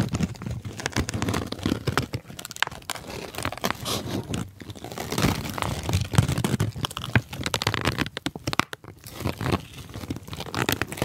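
A large light-brown kraft paper sheet is held close to the mic and crumpled and rubbed with the fingers of both hands. It produces dense, continuous crinkling and crunching with a broad papery rustle and a soft low rumble, rising and falling in bursts with short pauses.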